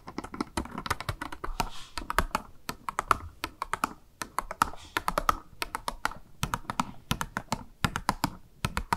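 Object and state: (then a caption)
Plastic blister package with makeup sponge, tapped. Long nails rapidly tap a small, hollow, clear pink plastic blister package with a makeup sponge inside, held in both hands. The result is a quick, uneven run of sharp, dry plastic clicks in fast bursts. Each click has a hollow tone around 1.3 kHz and dies away almost instantly.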